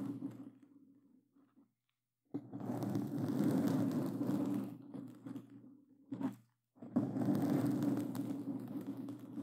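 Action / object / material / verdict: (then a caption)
scrape / foam microphone cover / foam / none. Black claw gloves with glossy plastic claw tips scratch a black foam microphone cover, producing dense, rustling, crunchy scratching with a low, muffled rumble. The scratching comes in three bursts separated by short near-silent pauses, swelling and easing in loudness.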